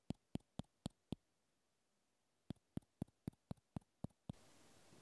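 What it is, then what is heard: Plastic clothespin. A small white plastic clothespin held in the hand is tapped with the fingertips, making 13 quiet, dry clicks: a group of five, a pause of over a second, then eight more. Right after the last tap, a soft, steady scratching hiss begins as the fingertips scratch the clothespin.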